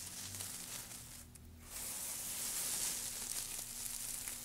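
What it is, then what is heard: Pile of wood shavings. Fingertips of both hands dig into and rustle through a loose pile of thin, light-coloured wood shavings resting on a black surface. The result is a dense, bright, crackling rustle with a faint steady low hum underneath; it eases briefly near the middle, then grows louder and fuller toward the end.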